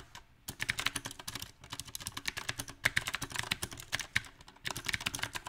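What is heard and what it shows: Fingertips of both hands type on a small 68-key backlit mechanical keyboard with round typewriter-style plastic keycaps set on a silver metal plate. Quick, bright, crisp clacks centred around 2 kHz come in uneven bursts with brief pauses between runs. Each keystroke dies away almost instantly.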